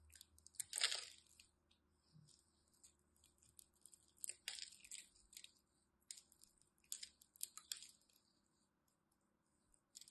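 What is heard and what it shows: A small craft knife scores a grid into a solid pink and white striped bar of dry soap held in the hand and cuts out small cubes. Quiet, bright, crisp scratching and crunching bursts come at irregular intervals, each dying away quickly, with faint low hum in the gaps.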